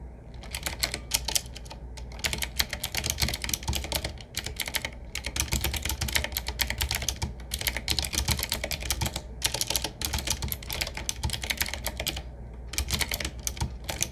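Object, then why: Retro mechanical keyboard with round metal-rimmed keycaps. Both hands type with fingertips on a medium-size 7Keys retro, typewriter-style mechanical keyboard with round black keycaps in metal rings, set in a wood-finish frame with a hollow case. Rapid, bright, clicky keystrokes come in dense bursts separated by short pauses, over a steady low hum.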